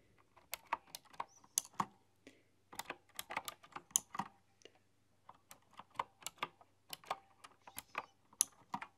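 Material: Plastic, metal.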